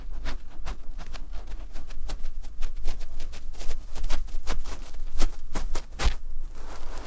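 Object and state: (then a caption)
Terry cloth fabric being scratched. A cream looped terry cloth fabric pad lying flat is scratched by fingertips and short nails across its textured surface. Quick, dry scratches follow one another in a steady, uneven rhythm over a low rumble, with a few sharper, brighter strokes standing out.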